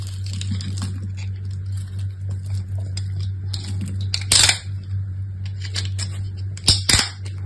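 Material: Soap.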